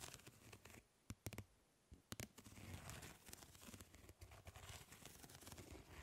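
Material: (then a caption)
Plastic. Long nails scratch across the grid of a plastic mesh fly swatter, making dry, crackly rasping with a low rumble underneath. A few sharp, bright clicks stand out early on. The scratching then becomes a dense, continuous crinkling texture.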